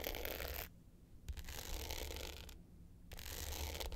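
Long pointed nails scratch the dark blue glitter top of a small rectangular hollow hard-case clutch with a gold metal frame, lying flat. Three bursts of bright, gritty scratching are separated by two short quieter gaps, over a steady low rumble.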